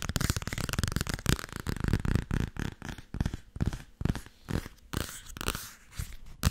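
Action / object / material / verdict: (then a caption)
tap / paperback book with paper cover / paper / none. A solid paperback book with a paper cover is tapped and scratched quickly with long nails. Rapid, dull, low-heavy taps mix with brief bright scratchy strokes across the cover, each sound dying out almost at once.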